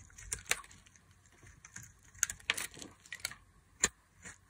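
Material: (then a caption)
Glycerin soap. A metal utility knife blade cuts long strips off a solid oval translucent green glycerin soap bar held in the hand. About ten short, crisp, bright scraping and cutting strokes sound out with quiet gaps between them, and there is almost no low end or ring.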